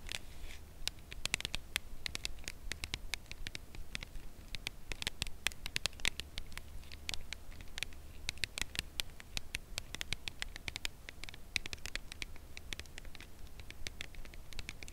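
A full, red Lindt Lindor cardboard box holding a chocolate bar, flat, rectangular and hand-sized, is held edge-on in both hands and tapped along its narrow side with long acrylic nails. Quick, light, dry taps and bright clicking patter continue steadily throughout, each dying away instantly, over a constant low hum.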